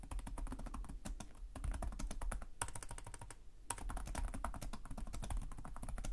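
Fingertips with short nails type continuously on the plastic chiclet keyboard of a black laptop resting on a desk, producing rapid, dry key taps with short clicky attacks over a low thumpy base. The steady stream of taps briefly thins out twice before resuming at a fast pace.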